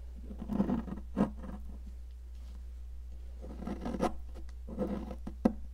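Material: Chalk.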